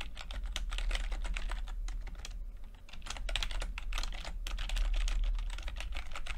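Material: Plastic.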